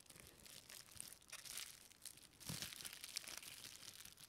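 A small, thin, flexible clear plastic packaging strip with a textured surface is held in both hands and crinkled and rubbed with long painted fingernails and fingertips. The result is a quiet, bright, continuous crinkling and crackling with dense overlapping rustles, swelling around the middle and again near the end.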